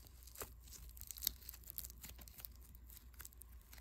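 A small, soft but solid lump of white foam bead clay is kneaded, pulled apart and pressed back together with fingertips. The result is quiet, bright crackling and crunchy tearing sounds over a low, steady background hum, with a few sharper pops standing out.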